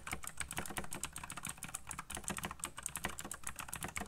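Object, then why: Mechanical computer keyboard with plastic keycaps. Fingertips type fast on a black backlit mechanical computer keyboard with plastic keycaps. A rapid, steady stream of short, dry clicks and clacks follows, each with a bright, high top and a low thump underneath, dying away almost instantly.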